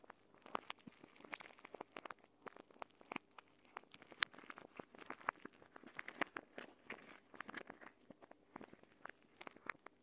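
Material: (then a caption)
Plastic, gel. A clear plastic gel bead eye mask, a pouch filled with green gel beads, is held in both hands and squeezed and rubbed with fingertips and nails. It makes a quiet, steady stream of short, sharp crinkles, crackles and clicks with a bright plastic edge and almost no low end. Each sound dies away instantly.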